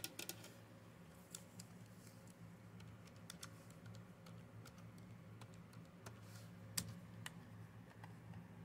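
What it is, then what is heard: Plastic computer keyboard. Long-nailed fingers type and tap on the keys of a black plastic Dell keyboard, including the number pad. Quiet, sharp, bright clicks come at uneven intervals over a steady low hum, each one dying away almost instantly.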